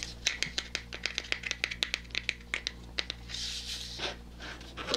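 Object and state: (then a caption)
Plastic jar lid tapped and scratched with fingernails. A small clear glass jar full of white cotton balls, closed with a red plastic screw lid, is held in one hand while fingernails and fingertips scratch and tap the lid. Rapid, sharp, bright clicks come in a steady run over a low constant hum, then give way to a softer, hissy scratching near the end.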